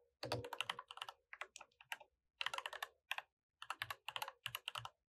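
Both hands type with their fingertips on a mechanical keyboard with plastic keycaps. Quick bursts of bright, clicky keystrokes come in clusters separated by brief silent pauses, each click sharp and dying away almost at once with little low-end weight.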